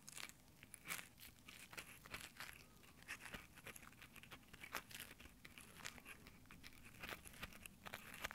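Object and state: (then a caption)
Nylon exfoliating gloves rubbed on a microphone grille. Fingertips in rough nylon exfoliating gloves scratch and rub over the top microphone grille of a small Tascam handheld recorder. The result is a dense run of close, crackly scraping and crinkling, with many quick bright bursts over a quiet low rumble.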